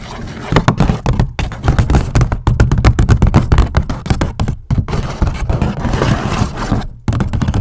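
Long nails scratch and tap along the folded top and sides of a medium-sized, hollow, empty grey paper gift bag with white polka dots. Rapid, uneven dull thumps and dry scratchy rustles sound close and bass-heavy, each tap dying away almost at once. Brief pauses break the stream before the scratching resumes.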